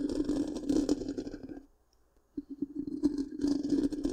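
Long pink-painted nails scratch the black, round, hollow metal mesh grille of a large microphone. A dense, raspy scratching with a steady low-mid hum runs for about a second and a half, falls silent for under a second, then resumes in quick irregular strokes.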